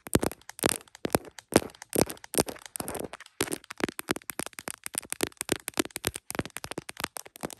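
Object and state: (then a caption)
Plastic phone case. Long acrylic nails rapidly tap and scratch the back and camera bump of an iPhone Pro in a printed smiley-face hard plastic case, the recording phone itself, mounted on a tripod clip and reflected in a heart-shaped mirror. Dense, dry plastic clicks and short crackling scrapes come in quick bursts with bright tops and almost no ring.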